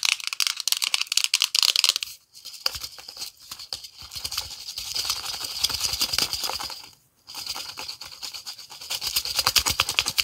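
Long nails tap and scratch a hollow black plastic pre-workout tub with a yellow lid, partly filled with powder. Dense, bright scratching and quick clicking taps fill the clip, with almost no low end and only brief quiet gaps near 2 and 7 seconds.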